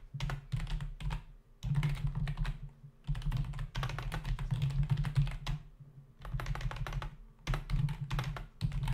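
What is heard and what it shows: Both hands' fingertips type fast on a full-size black plastic membrane computer keyboard with hollow keys, resting on a desk. Rapid bursts of low, hollow, thudding key taps with a faint bright click on top are broken by short pauses. Each tap dies away quickly.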